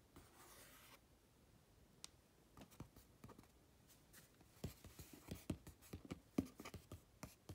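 Fingertips tap and rub across the flat front face of a medium-sized printed cardboard retail box for a three-light bathroom vanity fixture, which appears to still hold the product. A soft, airy rubbing hiss opens the clip, followed by an irregular series of dull, low, hollow taps that die away almost instantly. The taps grow louder and more frequent toward the end, mixed with light scratchy brushing.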